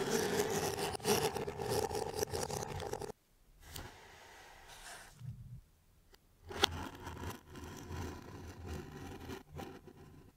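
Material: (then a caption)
Cardboard. A gloved hand holds a small, closed, hollow brown corrugated cardboard mailer box sealed with clear tape while a craft knife blade scrapes and slices along the taped seam during an iPhone 12 unboxing. A dense, rasping cut runs for about three seconds, then drops to near silence broken by faint scratches. A sharp click follows, and lighter, uneven scraping continues to the end.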